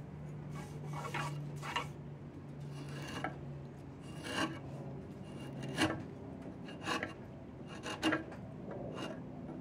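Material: Wood.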